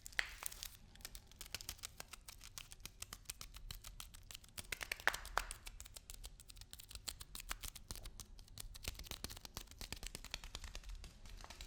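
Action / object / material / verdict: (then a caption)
tap / lentils in a plastic package / plastic, lentils / none. A package of lentils is tapped and handled, producing a rapid, continuous series of light, crisp taps mixed with crinkling of the packaging. The sharp clicks are bright and short with almost no ring, over a faint low rumble.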